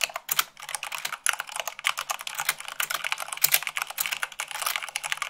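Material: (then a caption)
Plastic. Fingertips with long nails type rapidly, at about 98 words per minute, on a white plastic mechanical keyboard. It makes a fast, uneven stream of sharp, bright clicks and clacks with almost no low end. Each keystroke dies away almost instantly.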